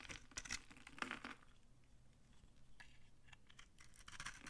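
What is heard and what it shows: A utility knife with a red handle shaves dry flakes off a hand-sized, solid, old, dry yellow vintage soap bar held in the palm. Crisp, crunchy scrapes and bright crackling bursts cluster near the start and end, with quieter shaving in between.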